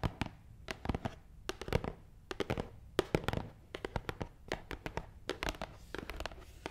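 A long, hollow black matte cardboard box is tapped quickly on top with long nails. A rapid, uneven series of dry, sharp clicks lands in quick bursts, each with a hollow knock around 370 Hz and almost no ring.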